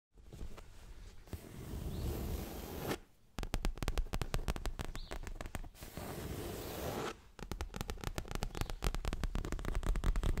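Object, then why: Leather-covered stuffed cushion. Long manicured fingernails tap and scratch a soft, stuffed, dark grey leather-covered pillow held against the chest. Stretches of steady, rustling scratching alternate with bursts of fast, irregular tapping. The taps are dull, low and muffled, with almost no ring.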